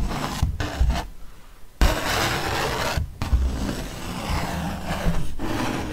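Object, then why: Thick paper print. A ballpoint pen tip traces and scratches across the same thick paper art print of a fox, making a steady dry rubbing, rasping scrape. The scratching runs in strokes broken by short pauses, with one longer quiet gap early on.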